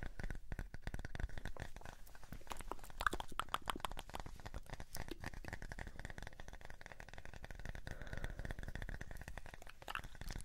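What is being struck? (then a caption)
Small wooden disc. A light, solid, palm-sized round wooden disc is held in the hands and scratched and tapped with fingertips and nails. The result is a dense, steady stream of quick, dry taps and scratchy rustles with almost no ring, weighted toward a soft low thud, with a faint steady tone around 1.2 kHz underneath.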